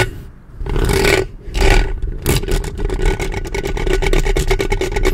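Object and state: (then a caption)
Metal microphone grille scratched with fingernails. Long painted fingernails of both hands scratch and rub directly on the metal mesh grille of a black studio USB microphone with a hollow head. Two slower, broad rasping strokes give way to a fast, dense run of scratchy ticks. The sound carries a heavy, boomy low rumble under a bright, gritty edge.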